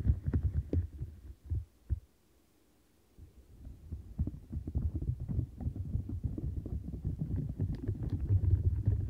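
Long nails scratch along the rim bristles of a light blue silicone bristle-and-bump scrubber mat and grip its edges, making dense, low, muffled rubbing and thumping. The scratching pauses into near silence for about a second, then resumes and builds steadily louder to the end.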